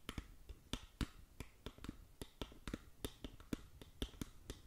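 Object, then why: Small cardboard box. Long acrylic nails tap rapidly on the faces of a small, hollow, printed cardboard SkinLabo cosmetic box held up close. About twenty short, dry taps fall in an uneven rhythm, each a hollow low thump with a bright click that dies away almost at once. The taps sit over a quiet background.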